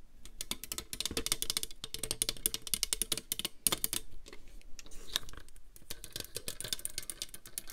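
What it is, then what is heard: Plastic paper trimmer. A plastic paper trimmer is turned in the hands while long nails scratch and tap its grid surface, underside and clear guide rail. Dense, rapid clicking taps and scratches run throughout with bright, high edges, briefly thinning out near the middle.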